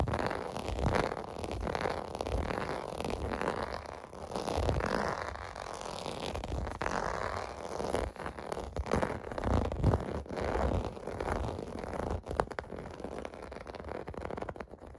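A clear blue plastic bubble bath mat lies on carpet while fingertips rub and scratch across its bubble domes. The result is a continuous stream of soft, low-mid scratching and squeaky rubbing, with dense rapid friction strokes and little high-end brightness.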